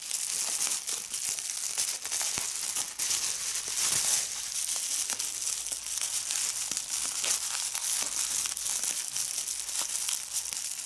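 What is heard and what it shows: A medium piece of clear plastic bubble wrap is held in the hands while fingers squeeze it and pop the bubbles. Sharp, bright snaps and pops ring out over a steady, high crinkling of plastic, with almost nothing in the low end.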